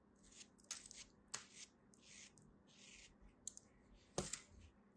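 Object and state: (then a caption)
Kinetic sand being sliced. A palm-sized, solid green molded kinetic sand turtle held in the hand is sliced with a black blade, taking thin layers off it. Soft, bright hissing scrapes alternate with a few sharp crisp clicks, the loudest near the end, over a quiet low background.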